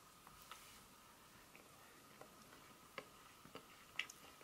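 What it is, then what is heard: Dark chocolate bar tapped with nails. A solid dark chocolate bar held in the hand is turned from its smooth back to its segmented front and tapped and scratched with long pointed nails. Several sharp, bright clicks and taps ring out over a quiet, hissy background, with a steady faint tone near 1.2 kHz. The taps are short and dry, with the loudest near the end.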